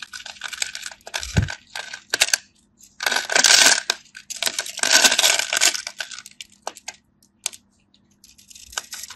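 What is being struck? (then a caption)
Bar of soap cut with a knife. A craft knife carves diagonal lines and cubes off the surface of a solid cream dry bar soap held in the palm, cutting and scraping with the blade. Crisp, bright scraping and crunching bursts come in irregular strokes, some long and dense, others short and clicky, separated by brief silences.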